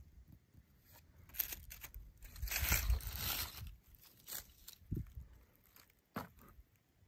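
A thin twig taps along and traces the borer trails grooved into a weathered, solid dead wooden tree branch. Dry, scratchy scraping swells into a longer rough, crunchy rasp, punctuated by sharp, short taps at an uneven pace. The sound is quiet and bright with a low rumble underneath.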